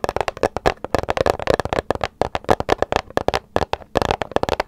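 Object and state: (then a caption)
Paper gift bag. A small, hollow, light grey paper gift bag with round prints and a handle is tapped and scratched rapidly with long nails close to the microphone. About 26 quick, dry taps and crinkly scratches follow one another in an uneven patter, each ending almost instantly, with a papery midrange body around 520 Hz and a crisp, bright edge.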